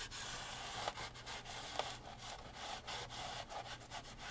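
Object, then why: Framed oil painting on canvas with wooden frame. A gloved hand vigorously rubs the textured painted canvas of an upright framed oil painting, set in a wooden frame, with a grey microfiber rag. A steady, bright, hissy scrubbing continues throughout, with a few brief, sharper scratches standing out from the even friction.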